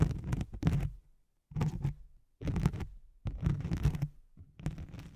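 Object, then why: Nylon hook-and-loop sheet. Long nails scratch with both hands across a thin white nylon hook-and-loop velcro sheet laid over a microphone. Bursts of low, rough scraping and crackling come in separate bouts with brief silent gaps between them.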